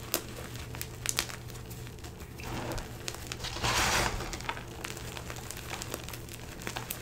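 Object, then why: Crumbled gym chalk chunks and powder. Hands press and rub their fingertips through a bin of crumbled blue-green dyed gym chalk (magnesium carbonate), squeezing and crushing the chunks and powder. Soft, dry crinkling and crunching carries on throughout, with scattered sharp crackles. A louder, brighter burst of crushing comes near the middle, over a low steady hum.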